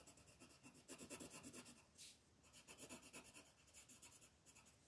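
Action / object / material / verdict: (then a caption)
scrape / paper page on a wooden table, rubbed with a pencil tip / paper / none. A blue colored pencil tip is rubbed back and forth across a thin paper coloring book page lying flat on a wooden table to shade it, while the other hand, with long nails, holds the page. A quick, uneven run of soft, bright, scratchy strokes swells and fades, with a sharper hiss near the middle.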